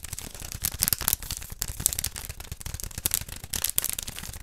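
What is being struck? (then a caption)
Cardboard tube. A long, hollow beige cardboard tube is held in both hands while fingertips and nails rub and scratch along its length. The result is a dense run of dry, bright scratching and crackling with sharp little clicks and faint low thumps, each sound stopping almost instantly.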